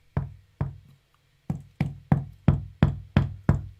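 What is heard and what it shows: A hammer strikes the back of a small masonry wall niche in a hidden vaulted cellar, giving ten quick, hollow knocks. Each knock is a low, boomy thud with a very short ring. The niche sounds very hollow, suggesting a space behind the wall.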